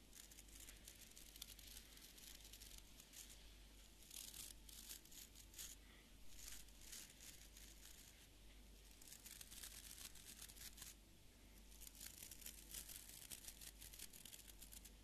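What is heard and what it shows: Fingernails strum along the tips of the stiff fibre bristles of a small beard brush with an orange wooden back, held in one hand. The result is quiet, bright, crackly scratching that comes in dense rasping bursts over a steady low hum.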